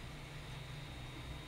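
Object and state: Nothing is struck.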